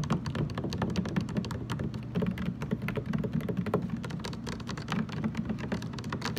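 Fast fingertip tapping with both hands on the ridged lower sides of a large, hollow, blue translucent plastic water jug standing upright. The result is a continuous stream of quick, dry taps, each with a hollow low resonance around 176 Hz and brief clicky tops that die away almost at once.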